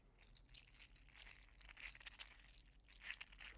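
A green-teal 3D printed PLA articulated slug toy is held in the hands and flexed and squeezed so its segments click. Quiet, irregular bright clicks and crinkly rattles come in bursts over a low steady hum, with no lingering ring.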